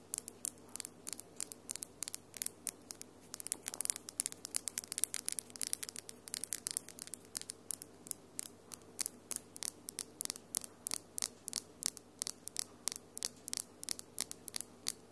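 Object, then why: Acrylic fingernails. Long, almond-shaped glitter acrylic nails, small, hard and solid, are tapped quickly nail against nail in front of the recorder. About seventy sharp, bright clicks come in a fast, uneven stream, each dying away almost instantly with almost no low end under a faint steady hum.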